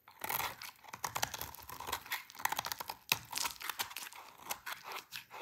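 A utility knife blade shaves a hand-sized, solid, light pink bar of dry soap held in the hands, scraping off brittle curls. Quick, dry, crunchy scrapes and crackles follow one another in bright, crisp bursts with almost no low end.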